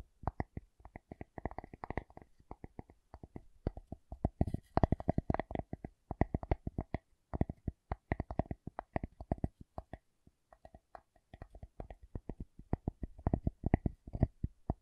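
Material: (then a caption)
Wood. A wooden object is tapped in quick, irregular bursts of short, dry knocks with a low, hollow body and almost no ring. Brief pauses break up the tapping before it resumes at a steady pace.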